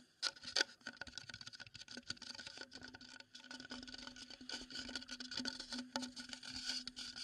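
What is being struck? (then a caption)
Wooden bowl. A wooden bowl is tapped and scraped as an ASMR trigger, giving a quick patter of many small, bright, dry taps. The taps mix with light scratching and a faint steady tone running through the clip.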